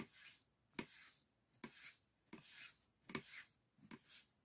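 A brush with a wooden handle rubs and sweeps over the thin bamboo ribs of an open folding hand fan with white painted paper. Soft, airy brushing swells alternate with five short, sharp taps or clicks against the ribs. The sound is quiet, bright and hissy, with little low end and almost no ring after each tap.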